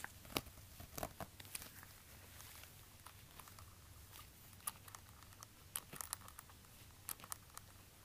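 Gloved fingertips in orange rubber gloves tap and scratch the suede heel counter of a hollow black suede high-heel ankle bootie with a stiletto heel, held in the hands. Quiet, sharp, dry taps with bright crackling edges stand out over a soft, continuous scratchy rustle and a faint low hum. Each tap dies away instantly.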